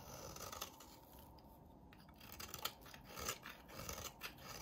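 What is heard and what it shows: A hand-sized, solid lilac bar of soap with a red rim is scraped and shaved with a utility knife blade. Quiet, dry rasping strokes come at an uneven pace, each a brief bright scratch over a soft, continuous hiss.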